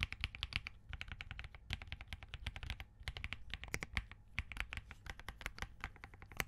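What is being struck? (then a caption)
Mechanical keyboard, POM case, plastic keycaps. Fingertips from both hands type continuously on a compact Spark67 mechanical keyboard with Crane switches, a POM case and plastic keycaps. A rapid, steady stream of short, crisp, bright clicks rides over a soft low thock, with brief pauses between bursts.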